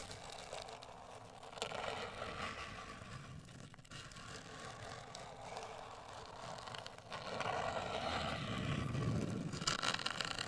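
Long acrylic nails scratch and tap a closed, hollow, medium-sized black printed rigid cardboard cosmetic box. The result is a steady, dry, papery scratching with soft tapping mixed in. It grows louder and brighter at about 1.6 seconds and again after 7 seconds, and the sound dies quickly with no ring.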